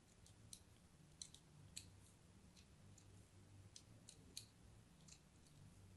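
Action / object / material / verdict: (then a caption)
scrape / bar of soap cut with a thin metal blade / soap / none. A thin metal blade scores diagonal crosshatch cuts across the surface of a solid cream bar of soap held in one hand. Soft, bright scratching and crisp cutting clicks sound through the clip, with a few sharper snaps standing out. A steady low hum sits underneath.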